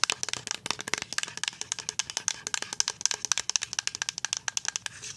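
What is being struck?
Plastic pump bottle of liquid soap.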